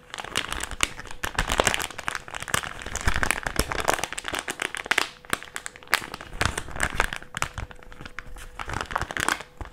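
A small white plastic mask pouch is folded and squeezed in both hands and crinkled with the fingers. It makes dense, continuous crinkling with sharp, bright crackles and short bursts of rustle. A faint steady tone around 550 Hz runs underneath.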